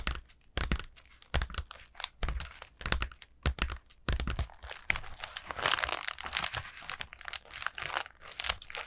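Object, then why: Pleated paper lantern. Long nails scratch and tap a collapsed orange paper lantern made of thin pleated paper with a black plastic centre. Dry, bright crinkling and crackling comes in separate bursts over the first four seconds, then turns into a denser, continuous rustling scratch.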